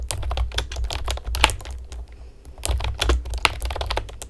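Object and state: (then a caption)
Plastic keyboard, rapid typing. Long painted nails and fingertips rapidly tap on a pastel plastic typewriter-style computer keyboard with round retro keycaps and hollow keys. Sharp, bright plastic clicks come in quick bursts over a steady low hum, with a brief pause near the middle before the typing resumes.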